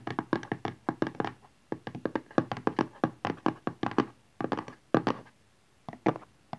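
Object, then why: Small rigid cardboard box. Long nails and fingertips of both hands tap quickly on the back of a small, rigid Honor 8X cardboard smartphone box lying flat, back side up, on satin cloth. About 34 short, dry knocks and clicks land in rapid bursts with brief pauses between them. Each has a hollow mid tone near 320 Hz and almost no ring.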